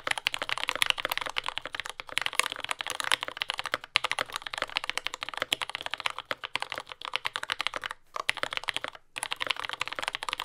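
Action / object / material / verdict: tap / mechanical keyboard, plastic keycaps / plastic / none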